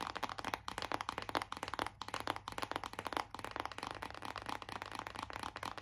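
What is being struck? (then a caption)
Cardboard eyeshadow palette case. Long acrylic nails tap fast on the printed lid of a closed BH Cosmetics cardboard eyeshadow palette, a flat hollow case. The result is a dense, continuous patter of short, dry clicks with a hollow mid-range tone and almost no ring. A faint low hum sits underneath.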